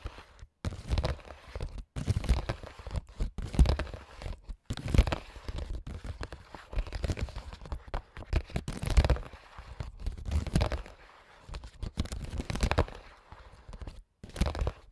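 A clear, translucent printed plastic makeup pouch holding small items is tapped and scratched with AA battery tips worn on the fingers. It gives off crinkly, crackling plastic rustles and soft taps in rapid, irregular bursts with brief pauses, and most of the energy is in a low, dull thump.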